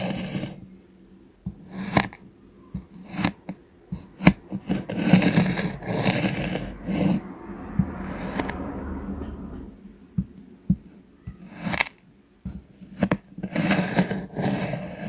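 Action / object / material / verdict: scrape / kinetic sand slab on a wooden board / kinetic sand / none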